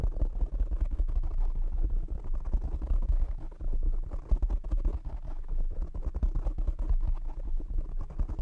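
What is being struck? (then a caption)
Foam windscreen on a microphone. Fingertips tap rapidly on a black foam windscreen covering a condenser microphone. The result is a dense, continuous stream of muffled, boomy thumps and scratchy rubbing, concentrated almost entirely in the low range with no bright content.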